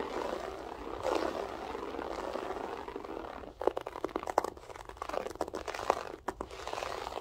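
Long acrylic nails scratch and pick at a flat beige loop-pile carpet with a textured loop pile. For the first half there is a steady, soft, midrange scratching rustle. After that come sharper, quick clicky snaps as the nails catch and pluck at the loops.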